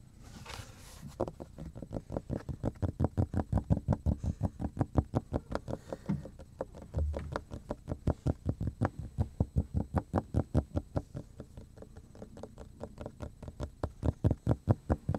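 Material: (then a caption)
Plastic. Fingertips and nails tap and scratch the surface of a large, flat, thin, solid black plastic cutting board with heavy scratch marks, held upright in one hand. A soft scratchy rustle opens the clip, then a steady stream of about 75 quick, dull, low taps follows, each short and dry with almost no ring.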